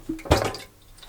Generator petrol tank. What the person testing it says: I can hear it sloshing around, so it's definitely got some